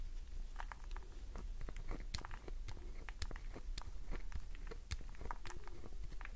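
A solid green glycerin soap bar is scratched with nails, and the nails dig into its top edge. Quick, dry crackling clicks and scrapes sound in a dense stream over a steady low hum.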